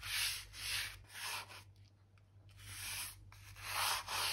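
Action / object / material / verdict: scrape / oak floorboards / wood / none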